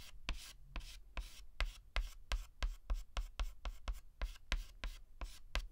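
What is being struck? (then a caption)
Chalk stick on a chalkboard. A white chalk stick held in the fingers scratches and writes strokes on a flat black chalkboard. It makes 17 short, separate, bright, dry scraping bursts in a quick, uneven rhythm, each dying away almost at once.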